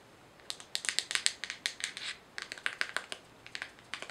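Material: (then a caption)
Plastic. Long manicured nails tap and scratch a small, hollow white plastic jar with a white screw-on lid held in the hands. The result is a quick, irregular run of dry, bright clicks and scratchy ticks with almost no low end. Each one cuts off at once, with two clusters separated by brief pauses.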